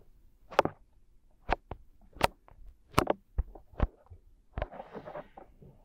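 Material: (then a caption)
Silicone. Fingertips of both hands rub and massage the two small, soft silicone ear shapes of a 3Dio binaural microphone mounted on a tripod. Close, muffled strokes and sudden brushing swipes flare from low thuds up to bright highs, separated by quiet pauses. The clip ends with a longer, denser rustling scrub.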